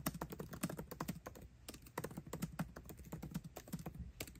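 Both hands type fast with fingertips on a 13-inch aluminium MacBook Pro laptop keyboard with backlit black plastic keycaps, tapping the keys continuously. It produces a quick, steady stream of soft, short clicks with a low thud under each press and little high-end brightness.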